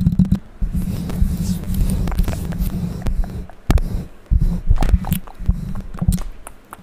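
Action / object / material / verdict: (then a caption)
scrape / metal mesh microphone grille scratched and tapped with fingernails / metal / none. A bare condenser microphone's hollow metal mesh grille, with no foam cover and held up in front, is scratched and tapped with long pink acrylic nails. Dense, boomy low rumbling scrapes and thumps fill the clip, broken by brief pauses and sharp taps. Its energy sits almost entirely in the deep lows with very short decay.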